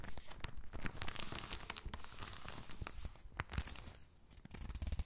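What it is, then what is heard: Thin paper catalog pages. An open catalog of thin, crinkled paper is rubbed and pressed flat with the palm and fingertips, then a page is turned. Dense, dry crinkling and rustling crackles run throughout with sharp bright snaps, easing briefly near the end before a last burst of crackle.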